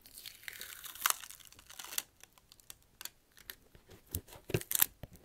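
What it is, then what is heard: Rubber shoe sole. A fingernail scratches and taps the textured rubber tread of a black slipper shoe, held upright close to the mic. Bright, raspy scratching fills the first two seconds, then gives way to a string of short, dry taps and brief scrapes with no ring.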